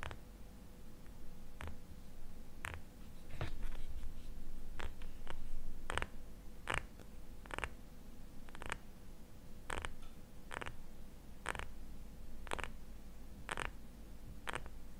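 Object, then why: Small glass jar filled with cream. Fingernails tap and scratch a small labeled glass jar filled with cream, held sideways in both hands. Sharp, bright clicks ring out at an uneven pace over a soft, continuous scratching, with a faint steady hum and low rumble underneath.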